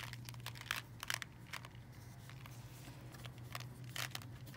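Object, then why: Plastic candy-cane tube filled with coated candies. A clear plastic tube with a red plastic candy-cane hook, full of red, green and white coated candies, is tapped and scratched with long nails and tilted so the candies shift. Quiet, irregular bright clicks and crinkly rattles scatter over a steady low hum.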